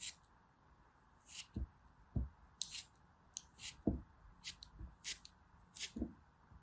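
A small, solid, green, gritty pressed soap piece is held between the fingertips and repeatedly scraped and cut with a metal blade. Short, crisp scraping strokes bring bright, hissy bursts, some landing with soft low thuds, separated by quiet pauses.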